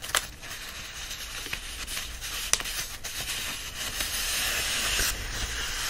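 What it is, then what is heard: Paperback book pages being rubbed. Hands press and rub the paper pages of an open paperback book while lifting pages upright. A steady, bright rustling and scratching hiss runs throughout, broken by a few sharper papery crackles.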